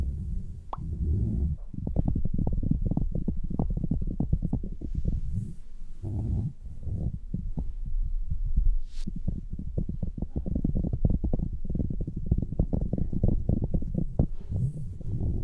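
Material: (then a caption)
Synthetic fur. Fingertips with long nails rub and squeeze red, fluffy synthetic-fur earmuffs with soft padded muffs, fitted over the ears of a white mannequin head. The sound is a dense, muffled, low rustling and thumping with rapid soft pulses and almost no high content, continuing steadily throughout.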